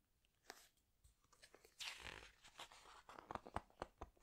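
Fingertips with long nails press and squeeze the glossy pages of a large open hardcover book, then turn a page. Soft, crisp crinkles and sharp ticks come in an uneven series, with a brighter rustling sweep as the page turns, then more quick, dry clicks that stop almost instantly.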